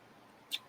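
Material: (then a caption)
Metal. A hollowed 1988 magician's coin is dropped onto a stack of coins, giving one short, bright click with a ring near 3.5 kHz that dies away within a few hundredths of a second. The coin sounds hollow rather than like a normal solid coin, which marks it as a magician's coin.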